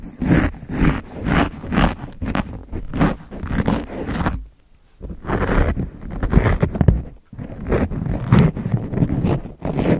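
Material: Foam.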